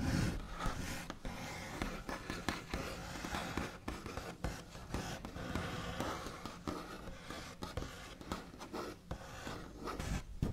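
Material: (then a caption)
Wood. Fingernail backs scratch and trace across a large solid wooden tabletop with a smooth white finish. The result is a steady, quiet, scratchy rubbing with low body, punctuated by many short, dry taps and scrapes that stop without ringing.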